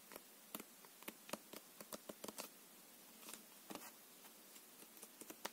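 A full deck of plastic-coated paper playing cards is held in the hands while the card edges are riffled, flicked and squared with the fingertips and nails. About 14 quiet, dry, bright clicks and snaps are heard, each dying away almost instantly, separated by faint hiss.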